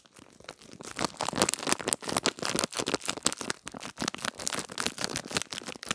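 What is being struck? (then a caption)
Small clear plastic package with a gel-bead pad. A small clear plastic package holding a gel-bead pad is crinkled and squeezed with fingertips and nails. The result is a dense, continuous run of bright, crisp crackles and rustles with many quick overlapping bursts and almost no low end.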